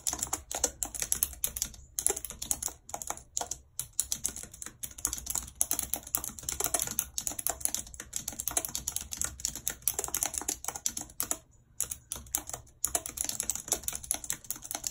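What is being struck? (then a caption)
Plastic computer keyboard keys. Long red acrylic nails type rapidly on a full-size white plastic computer keyboard with a numpad and hollow keys, lying on a world map. Dense, bright, clicky taps run in quick bursts with a few brief pauses and no voice.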